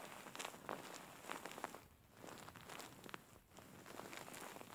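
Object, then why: Soft-filled faux fur pillow. Fingers grab and scratch the corner of a large, soft-filled grey faux fur pillow. The result is quiet, bright, crackly rustling in uneven bursts with short dips between them.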